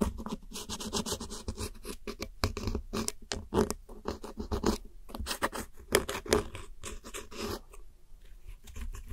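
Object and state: Pressed powder eyeshadow being scraped.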